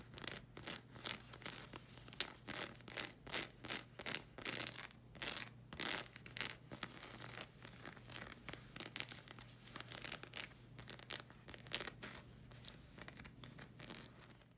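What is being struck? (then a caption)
Rubber slide sandal sole. Long red acrylic nails scratch and tap across the solid sole of a black rubber slide sandal, making rapid, bright, crackly scratching bursts with short sharp clicks. A steady low hum runs underneath throughout.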